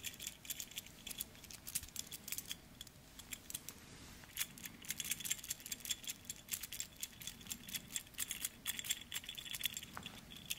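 A single silver stainless steel link-bracelet wristwatch is dangled by its bracelet from the fingers and shaken, so the metal links jangle and rattle against each other. The result is a dense stream of quick, bright metallic clicks with a ringing tone near 3.4 kHz, easing briefly around four seconds before picking up again.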